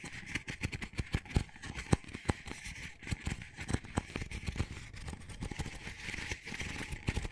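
An empty, small, hollow double-wall paper coffee cup with a textured dotted sleeve is held in the hands while fingers and nails scratch and tap its outside wall. Quick, dull taps with a low hollow thump mix with dry, crackly scratching and a steady papery hiss. The sharp taps die away almost instantly against the ongoing rustle.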